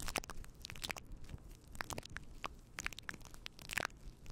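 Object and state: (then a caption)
Faux fur microphone windscreen. Fingertips of both hands rub and scratch a fluffy faux fur windscreen on a microphone. The result is close, crunchy crackles and sharp, bright scratchy bursts over a soft, low rumbling bed, with quick bursts that die away instantly.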